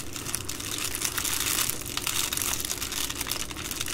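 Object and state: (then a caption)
Plastic padded mailer being crinkled. An Amazon Prime plastic bubble-lined padded mailer, flat and soft, lies on a wooden table and is crinkled and rubbed with fingertips and long green nails. The result is a continuous, dense, bright crinkling and rustling with many small crackles running together and little low end.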